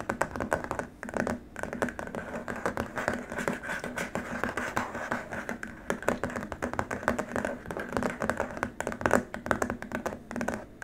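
Both hands scratch and tap with short nails and fingertips on a long, flat, white rigid plastic keyboard wrist rest. The result is a dense, continuous stream of quick, dry clicks and scratchy rasps that die away almost instantly. The sound is mostly mid-range, with a faint tonal edge near 1.5 kHz.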